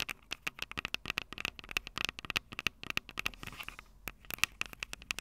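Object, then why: Handheld audio recorder with metal microphone capsules. Long purple nails tap and scratch the two metal mic capsules on top of a small, hollow Tascam DR-05 handheld recorder with a plastic body. About 33 quick, dry, bright clicks sound in an irregular run, each with a ringing tone near 2.7 kHz that dies at once. A brief scratchy rustle near the end breaks up the taps.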